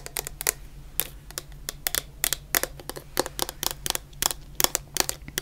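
Long painted nails tap a medium clear plastic bottle full of orange shower gel, making about twenty quick, bright, crisp clicks with a crinkly edge that stop almost at once. A faint, steady low hum runs underneath.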